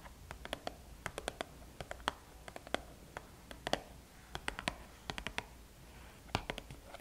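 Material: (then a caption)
Cardboard. Long painted nails tap and scratch the top of a small, flat, red Sephora VIB Rouge cardboard gift box, closed and likely holding items, lying on a table. Quick, dry, bright clicks come in irregular bursts, with soft scratching between them over a low, steady background hum. Each tap dies away almost instantly with no ring.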